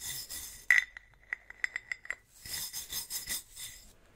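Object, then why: Ribbed metal bottle. A wooden-handled bristle brush is stroked across the ribbed body of a large, hollow, silver tin or metal swing-top bottle held horizontally. A bright, raspy brushing hiss is broken by a sharp ringing clink near 2 kHz, then a run of light metallic ticks. The scratchy brushing then resumes.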